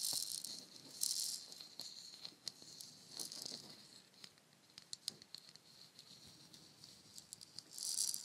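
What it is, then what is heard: Wooden shaker egg. A palm-sized hollow painted wooden shaker egg has its surface scratched and tapped with long nails while its fill rattles inside. The sound is a bright, hissy rattle with quick sharp clicks, swelling in louder bursts near the start and the end.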